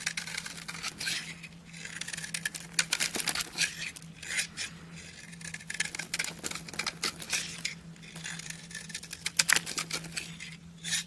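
A yellow-handled blade scrapes and shaves a solid, palm-sized pink bar soap with an embossed logo held in the hand, curling off soft, powdery flakes. The sound is a dense run of fine, bright scratching and crisp crunching strokes with quick, dry ticks and no ring, over a faint steady low hum.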